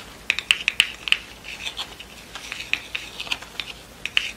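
Long nails tap and scratch the cardboard center disc and the pleats of a yellow pleated satin award rosette lying on a table. The result is a quick, irregular series of sharp, dry, bright clicks with almost no ring, centered around 3 kHz and mixed with soft, papery scratching.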